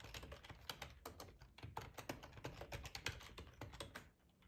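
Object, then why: Plastic ergonomic computer keyboard. Fingertips type steadily on the keys of a black plastic, hollow-bodied split ergonomic computer keyboard. The result is a quick run of soft, short clacks, each with a low thud under a bright click. The tapping thins out and quiets near the end.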